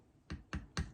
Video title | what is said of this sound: How to make Marmalade! | hear the dell, the dull sound